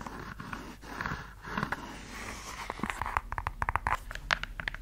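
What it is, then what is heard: Suede high-heel shoe. Long yellow nails scratch and tap the outer suede and the opening of an empty red suede stiletto high-heel pump. Soft, dry scraping comes first, then turns into a run of quick, crisp clicking taps that end abruptly.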